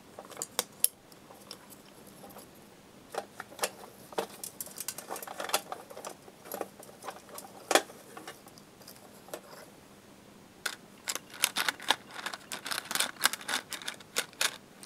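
Fingertips tap and handle a small, hollow, clear plastic box with a Tesco paper label on the front, partly full of colored coated metal paper clips. The result is dozens of short, bright clicks and light rattles that come in bursts, with quieter stretches around 2 to 3 seconds and 9 to 10.5 seconds. A faint low hum runs underneath throughout.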